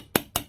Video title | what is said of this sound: (Sold) HaylettRV.com - 2017 Jayco White Hawk 28DSBH Ultralite Bunkhouse Travel Trailer | you can hear metal sinks not plastic sinks